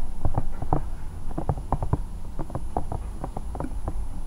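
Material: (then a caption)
Silicone. A bear-shaped hollow silicone night lamp is scratched and tapped with the long nails of both hands. It gives a quick, irregular run of soft, dull, muffled taps, about four per second, over a low rumbling scratch, with a faint steady high tone in the background.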